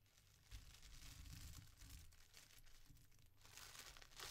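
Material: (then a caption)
Paper. Fingertips with painted nails press, rub and crinkle thin white tissue paper with sticker seals, folding it open from around a folded tee shirt on a table. The soft, flexible sheet gives a quiet, continuous rustle and bright crinkle over a low, dull rumble, with a few sharper crackles. The rustling swells slightly at the end.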